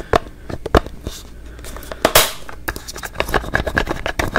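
A small white and teal plastic hello-brand toothpaste tube, held close, is tapped quickly and scratched with fingertips and nails. Sharp, dry clicks in a rapid, uneven series mix with a brief bright scratchy rasp and short crackly scrapes, each hit dying away almost instantly.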